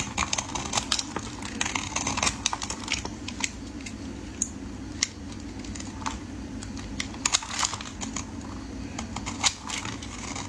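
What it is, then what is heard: Bar soap shaved with a blade. A metal utility blade scrapes and shaves the edge of a solid, hand-sized rectangular orange bar soap held in the hands. It makes a rapid run of many short, crisp, bright scraping clicks over a steady low hum.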